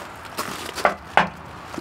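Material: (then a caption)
Steel. Knocking on the massive steel front bumper of a Concorde Cruiser 791 4x4 off-road motorhome, which, along with its shackles, is certified for towing. A few short, solid knocks with a firm midrange tone die away quickly with only a brief ring. The bumper sounds like real solid steel, not plastic.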